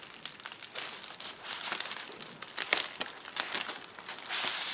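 A clear plastic bubble wrap sheet is rolled into a tube by both hands, with fingertips pressing and crinkling it. Dense, bright crinkling and crackling fill the clip, broken by sharp clicky snaps, with almost nothing in the low end. The noise swells louder toward the end.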